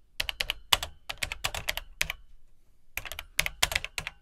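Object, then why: Plastic home computer keyboard. Fingertips type on the dark plastic keycaps of an Atari 800XL home computer, whose hollow plastic case gives a bright, clicky clatter of short, sharp keystrokes, slower than in earlier stretches. Two bursts of typing are separated by a brief pause of under a second, and each key click dies away almost instantly.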